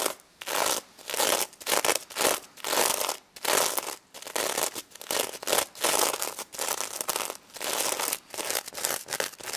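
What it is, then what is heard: Sequin-covered plush toy being scratched. Long red nails quickly scratch the gold and pink sequins on a stuffed plush pig toy, making bright, raspy, crinkly strokes. The scratching comes in rapid back-and-forth bursts separated by brief pauses, with a hissy high sheen and almost no low end.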